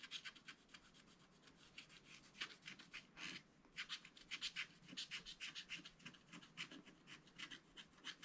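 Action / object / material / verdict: scrape / wax-coated scratch-art paper with wooden stylus / coated paper / none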